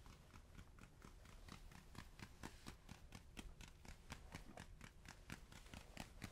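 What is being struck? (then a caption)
Spiky rubber ball. A spiky rubber ball is tapped and handled up close, giving a quick, steady run of short, dull taps. Each tap is brief and soft, with a low body and a faint bright edge, over a constant low background hum.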